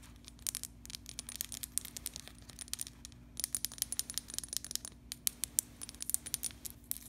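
Long pink acrylic nails tap and scratch a small clear glass bottle with a white plastic screw cap and a blue label, partly filled with yellow oil. Quick, bright, high-pitched clicks and light scratchy ticks come in dense bursts, with a brief lull near the middle. The sound stays quiet over a faint steady low hum.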